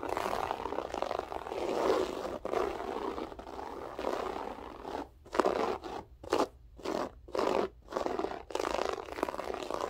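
Long acrylic nails with French tips scratch and rake the pile of a large, flat grey loop-pile berber carpet on a solid floor, using both hands. A steady, dry, scratchy rasp centred in the mids fills the first half. It then breaks into short, separate raking strokes with quiet gaps between them.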